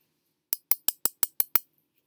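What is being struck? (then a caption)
Fork. A fork from a picnic set is banged seven times in quick succession to test whether it is metal, giving short, bright clinks that die away almost instantly. It sounds like metal, and the fork is judged to be metal.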